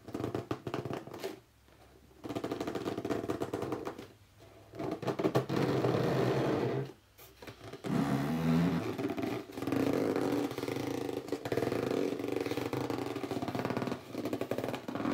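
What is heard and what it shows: Hands squeeze the sides of an upright, hollow red cardboard box while fingertips rub and scratch its top. Dense, rapid scratching and squeaky gripping come in bursts, with brief quiet gaps between them. Low hollow thumps and tonal squeaks sit under the bright scraping.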